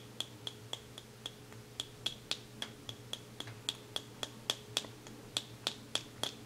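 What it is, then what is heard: Plastic cosmetic jar tapped with fingernails. A small white plastic cosmetic jar with a black lid is turned in the hands while fingernails tap on its lid and base. About 23 short, sharp, bright clicks land at an uneven pace of roughly three or four per second, each with a faint high tonal ping and almost no ring. A quiet, steady low hum sits underneath.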